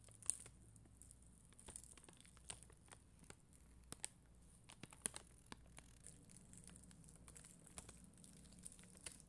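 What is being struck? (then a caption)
Acrylic rhinestone sticker sheet. A spoolie brush scratches over a sheet of red and clear acrylic rhinestone gem stickers. It makes a quiet, continuous bright crackling scratch with scattered sharp, crisp clicks that die away at once, over a faint low hum.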